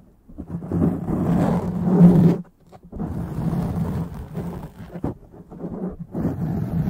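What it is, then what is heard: Foam microphone windscreen being scratched. Long dark-painted nails of both hands scratch a soft, porous black foam windscreen on a microphone. The result is a dense, low, muffled rumbling scrape with a steady low tone underneath, broken by a brief near-silent pause before the scratching resumes in uneven swells.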